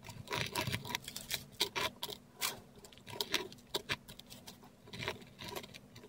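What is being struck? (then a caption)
Metal dip pen nib on a paper sheet. A metal dip pen nib scratches curved script letters in ink across a flat, textured Korean paper sheet. Quick, bright, papery scratches come in short bursts of strokes separated by brief pauses, over a faint, steady low hum.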